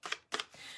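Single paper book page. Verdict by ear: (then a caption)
Thin. A single thin, dry, brittle old book page that has not been glued together with anything is handled, giving quick, crisp papery rustles. The page makes about three short, bright crackles, heavy in high frequencies, with almost no low end. It sounds thin and light, in contrast to the cardboard-like sound of the glued pages.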